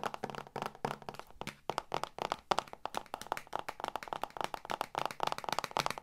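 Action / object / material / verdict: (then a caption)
tap / hardcover book cover / cardboard / none. Fingertips and long nails tap and knock on the dark patterned, stiff cover of a medium hardcover book held upright. The result is a rapid, uneven run of short, dry clicks and knocks that stop almost instantly, centered in the midrange around 780 Hz with little low end.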